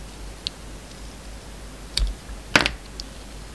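A solid bar of soap with a red coating and a yellow inside, held in the hand, is shaved with a metal utility knife blade. Four short, crisp, bright scraping clicks stand out from a quiet background, the third the loudest and slightly drawn out, each fading almost at once.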